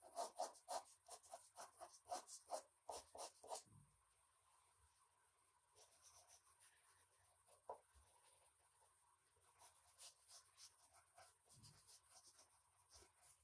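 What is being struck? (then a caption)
Colored pencil on thin drawing paper over a wooden desk. An orange colored pencil scratches across a large, thin sheet of white drawing paper resting on a wooden desk in repeated shading strokes. A quick run of loud, dry, scratchy strokes opens the clip, then the shading continues as softer, quieter rubbing with occasional sharper scrapes.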